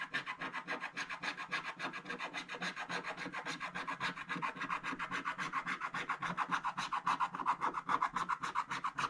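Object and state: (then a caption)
Scratch-art card being scratched. A wooden stick makes fast, repeated scratches across a scratch-art paper page (black wax-coated card) lying flat, cutting through the black coating into the blue layer underneath. The result is a steady, rhythmic rasping of short, dry strokes at roughly two per second, with a papery midrange centered near 1 kHz. The scratches grow slightly louder and brighter toward the end.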